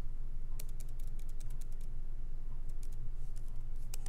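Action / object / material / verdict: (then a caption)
tap / laptop keyboard, plastic keys / plastic / none. Both hands type continuously with their fingertips on a MacBook Pro keyboard, whose low-profile plastic keys sit in a solid aluminum body. Quick, bright key clicks tap in an irregular stream over a steady low hum that stays constant throughout.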